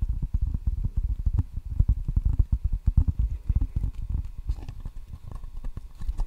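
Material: Wood, rubber.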